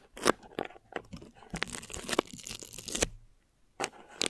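Clear plastic film stretched over a mesh microphone head is crinkled and scratched with long nails, then rubbed with a flat palm. Sharp, bright crackles and crunchy tearing-like bursts give way to a dense stretch of rustling friction. After a brief silence, a few more crisp crinkles follow.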